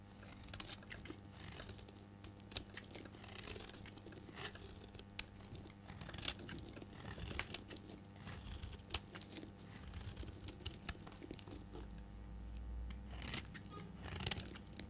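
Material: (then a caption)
Soap. A solid oval purple bar of dry soap is held in the hand and shaved with a metal blade, curling off purple shavings. Dry, crisp scraping and crackling cuts come in quick, uneven strokes with bright, tearing edges. A steady low hum sits underneath throughout.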